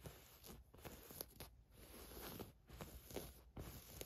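Long nails scratch and rub a black ribbed stretch-knit tank top with thin straps lying flat on a fur rug. The result is soft, dry, scratchy rustling in quick, irregular strokes with brief crisp bursts over a low, muffled bed.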